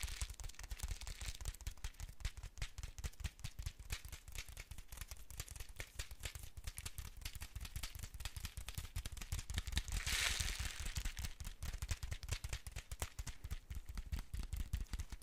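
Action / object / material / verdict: tap / foil-lined paper spice packet / foil paper / none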